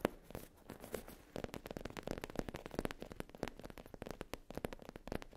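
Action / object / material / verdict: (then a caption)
tap / faux leather zip pouch / faux leather / none. Long nails tap and scratch the surface of a soft, flat black textured faux leather zip pouch lying on a fluffy mat. The result is a quiet, rapid stream of dry, crackly clicks and scrapes with no ring after each one.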